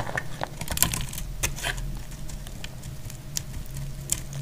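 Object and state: Dry soap bar.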